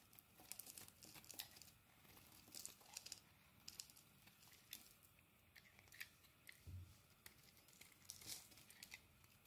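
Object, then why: Bar of soap scraped with a metal blade. A metal blade scrapes crumbly flakes off a solid purple oval bar of soap. The sound is a quiet, bright, dry crackle of short rasping strokes that come in repeated bursts, with a brief low thump partway through.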